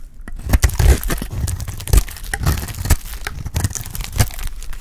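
A solid, dry pink bar of soap held in the hand is shaved with a metal utility blade. The clip is a rapid series of crisp scraping, crunching cuts, each a short broadband burst with a brief tearing rasp. Most of the energy sits in a low, dull body beneath the bright edge of each stroke.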